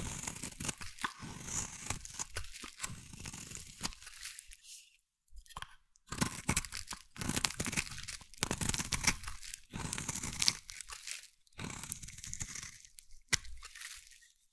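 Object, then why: Bar of soap. A hand-sized, solid green bar of soap is scraped with a metal blade into long strands. Crisp, crunchy, tearing scrapes come in bursts with a bright, hissy edge, separated by brief near-silent pauses.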